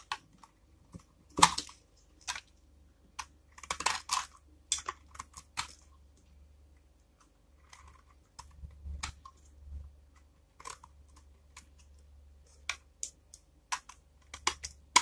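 A small, solid, dark bar of dry Vesna tar soap, held in the hand, is repeatedly scraped and shaved with a flat metal blade. Short, crisp, crunchy scrapes and bright clicks come in irregular bursts, separated by quiet gaps, over a faint low hum. Each sound dies away almost at once.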